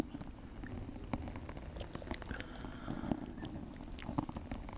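A dry, fibrous, hand-length natural loofah sponge with a cord loop is squeezed and rubbed right beside the microphone by fingertips wearing rings. The result is a soft, continuous crackling and scratching texture with many small, dry, quick taps and crisp snaps, most of the energy low with faint bright ticks.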